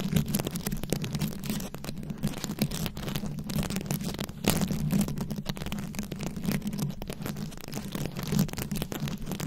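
Very long acrylic nails scratch a round, fist-sized microphone head covered in plastic rhinestones and beads. The result is a continuous stream of dense, crackly scrapes and clicks over a steady low, boomy hum around 150 Hz, with brief brighter bursts of scratching throughout.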